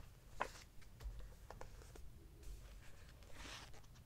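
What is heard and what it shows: A large open hardcover book with glossy printed paper pages lies flat while fingertips and a hand rub across the pages, then turn and flip them. Soft papery rustles and light taps sit over a low, steady background hum, with brighter swishes of pages turning near the start and again near the end.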